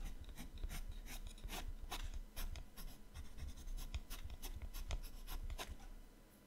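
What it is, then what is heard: Colored pencil shading on a paper sketchbook page. A yellow-orange colored pencil shades the right page of an open paper sketchbook with rapid strokes. The result is a quick run of soft, scratchy rubbing strokes with bright, brief bursts over a low background rumble. The strokes fade out toward the end.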